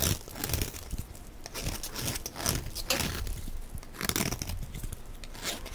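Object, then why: Bar of soap shaved with a blade. A utility knife blade shaves crumbly flakes off the face of a solid, hand-sized, yellow rounded rectangular bar of dry soap held in one hand. The result is a steady run of dry, crunchy scraping and crinkling with bright crackles and a low rumble underneath, swelling with each stroke of the blade.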